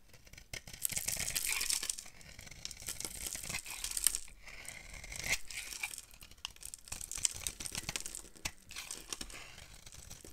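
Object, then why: Bar of soap scraped with a knife. A palm-sized, solid oval bar of dry lilac soap, held in the hand, is scraped and carved with a yellow-handled utility knife, shaving off crumbly flakes. The sound is a continuous run of dry, bright scraping and crackling with many quick crunchy bursts, and there is little low-end weight throughout.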